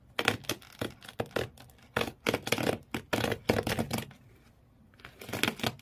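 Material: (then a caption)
Cardboard. Fingernails of both hands aggressively scratch the corrugated cardboard floor inside an empty cardboard shoe box. Rapid bursts of dry, bright rasping come in quick clusters, with a short quiet gap before a final flurry.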